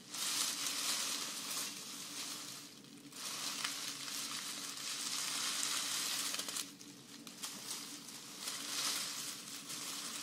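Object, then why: Grass skirt, dried grass or raffia strands. A thick bundle of green grass-skirt strands made of dried grass or raffia is held up while fingertips and long nails rub and scratch along them. Bright, dry rustling swells and fades in waves, with a steady faint low hum underneath.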